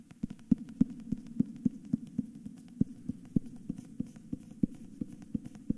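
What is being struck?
Hardcover book with paper dust jacket.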